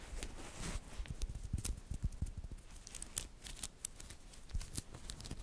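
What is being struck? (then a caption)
Small magnetic metal balls. Small, solid, green-coated magnetic metal balls from a glow-in-the-dark magnetic cube are rolled into a cluster in the fingers while long nails push them together. The result is a quiet, irregular run of short, sharp clicks and snaps with soft low thumps and bright ticks as the balls snap against each other.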